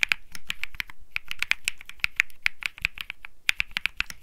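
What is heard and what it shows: Fingertips type rapidly on a compact Think 6.5 mechanical keyboard with Bsun Lollipop switches, an aluminum case, a PC plate and plastic keycaps, resting on a felt mat. A quick, uneven run of sharp keystroke clicks centers around 2.4 kHz with a bright top and a soft low thock beneath. Each stroke stops almost instantly.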